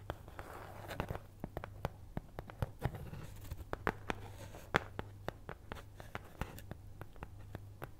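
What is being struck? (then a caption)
Thin cardboard cutout. A flat, thin, solid cutout of brown kraft cardboard (possibly thin fibreboard) in the shape of a cat's head is held in one hand and scratched with the long nails of the other. Many short, dry, crisp scratches and ticks sound in an uneven rhythm, each dying away almost instantly. A steady low hum runs underneath throughout.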